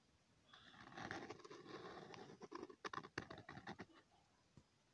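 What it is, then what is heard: Pen scratching on lined paper. A pen tip scratches small repeated circles onto a thin, flat sheet of lined notebook paper, making a soft, dry, scratchy patter. The scratching swells into a steady rasp, breaks into quicker, choppier strokes, then fades out with one last faint scrape.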